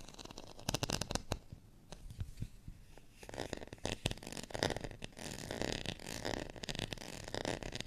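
Fingernails scratch the ribbed surface of a thin, solid, beige ridged plastic rice paddle. Quick, dry clicks and rasping bursts come first, then a denser, steadier crackling scrape in the second half. A faint tone hums underneath.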